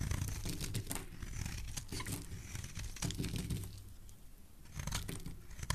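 A metal blade scrapes and shaves the edge and surface of a solid rectangular white bar of soap held in the hand, and white flakes fall off. Soft, dry, crackly shaving strokes run continuously over a low, dull rumble, easing quieter briefly before picking up again toward the end.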